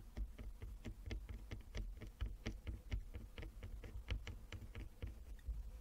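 Long fingernails on both hands tap across a flat wooden chess board with inlaid squares. The result is a quick, irregular patter of light, bright clicks that die away almost instantly, over a steady low hum.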